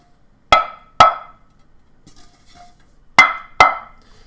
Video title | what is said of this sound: CAJUN GUMBO COOKING WITH OLDSKULENERD!!! LIVE!!!! | there's no ring to it it's solid